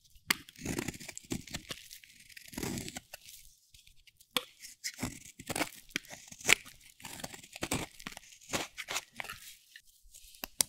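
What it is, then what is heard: Dry soap bar being carved. A metal blade scrapes and carves curls off a solid, dry bar of pale yellow-white soap with a teal edge. It makes a quick run of crisp, bright scraping and crunching bursts with faint tearing textures and almost no low end. Each stroke cuts off sharply with short gaps between.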